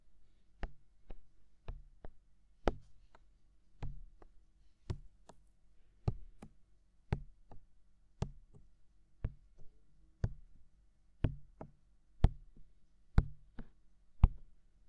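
Fingertips tap and knock on the white silicone ear of a binaural microphone, which is hollow and mounted. There are 19 firm, dull thumps with a deep low body and almost no ring, spaced unevenly and some coming in quick pairs.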